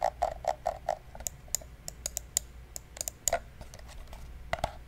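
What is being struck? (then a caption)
Plastic computer mouse. Fingertips repeatedly click the buttons of a small, hollow, black plastic gaming mouse held in the hands, producing about seventeen short, crisp clicks. The first several clicks come in a quick, even run with a hollow mid-range tone. Later clicks are more scattered, brighter and sharper, each dying away almost instantly over a faint low background hum.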